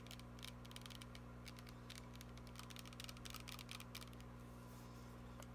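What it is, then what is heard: Plastic spray bottle tapped with nails. A glittery plastic body mist spray bottle, held upright in both hands, is tapped rapidly with long nails. The result is a quiet run of light, bright clicks over a steady low hum.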